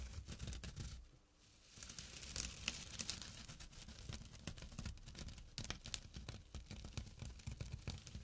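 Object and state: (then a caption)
Jute burlap pouch being scratched. A small, flat, empty jute burlap drawstring pouch lying on dark cloth is scratched with short fingernails and fingertips. The result is a dense, rough rasping with bright, dry crackle over a low rumble, easing briefly near the start before continuing steadily in quick, uneven strokes.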